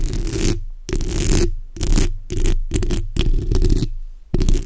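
The backs of long nails scratch across a black, hollow steel mesh microphone grille. Bursts of rough, rumbling scraping, heavy in the low end with a bright hiss on top, alternate with brief silent pauses.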